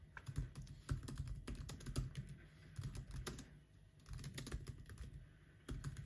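Fingertips of both hands press and tap the black plastic chiclet keys of a silver aluminum MacBook laptop while typing. A steady, uneven run of quick, soft clicks and taps is heard, each key press short and dull with a low, thumpy body and little brightness.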